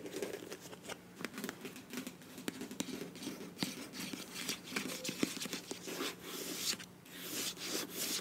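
Long nails scratch and tap the body of a filled beige plastic face wash tube with a bronze cap. The result is a quiet, steady stream of dry, bright scratching and crinkling, punctuated by frequent short, sharp taps that die away instantly.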